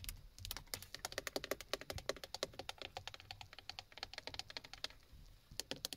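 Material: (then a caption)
Plastic. Long fingernails tap rapidly on the textured black plastic hub and side button area of a steering wheel, a hollow plastic shell. About forty sharp, bright clicks, each with a short hollow knock, come in quick bursts, with a brief pause near the end before a few final taps.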